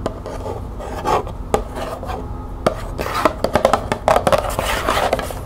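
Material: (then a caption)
Cardboard. Long painted nails scratch and tap quickly across the surface of a small, hollow, printed cardboard box of green tea held in the hand. Soft rasping scratches are broken up by a string of sharp, dry taps that clump together toward the end. Each tap has a hollow, papery knock that dies away almost at once.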